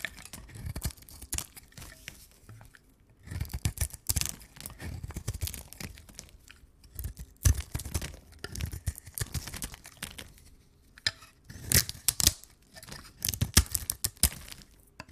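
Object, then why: Bar of soap cut with a knife. A pink, rounded rectangular bar of dry solid soap is held in the hands while a knife carves and scrapes across its top surface, cutting away crumbly pieces. Irregular bursts of dry scraping and crunching come in clusters, with brief crisp transients spanning from a low thud up into bright highs. Quieter pauses fall between them.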